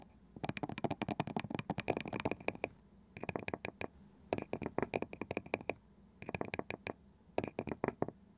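Long nails tap and scratch the pale wooden lid and edge of a palm-sized round wooden box with a woven side. Quick, dry clicking taps come in rapid bursts separated by brief pauses, each tap short with almost no ring and a bright edge over a soft, scratchy middle.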